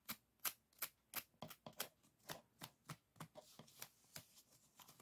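Fingertips and nails tap and scratch along the stacked bamboo ribs of a closed folding fan with painted paper folds. About eighteen short, dry, bright clicks and rasps come at an uneven pace. Each dies away almost instantly, with a faint scratchy hiss between the later ones.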